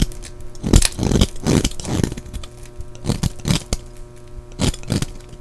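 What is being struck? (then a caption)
Soap bar shaved with a knife blade. A solid green-and-white striped bar of soap is held in the hand and shaved with a utility knife blade, scraping off curls and crumbs. Short, bursty scraping strokes with a gritty, crumbly texture come in uneven clusters over a faint, steady low hum.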